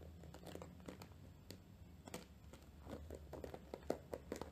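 A round, flat, dry natural loofah pad, about palm-to-hand size and fibrous and porous, is held in both hands and scratched across its rough fibrous surface with long nails. Quiet, dry scratching and crinkly crackles come in quick, short bursts over a steady low hum, growing a little sharper toward the end.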